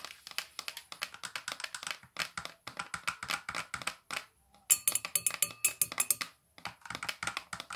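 Long nails fitted with metal paperclips tap rapidly on the hard cover of a thick Larousse dictionary with a solid paper block. The result is a dense run of short, bright clicking taps in quick bursts, broken by brief pauses. Around the middle of the clip comes a sharper, louder stretch with high metallic glints.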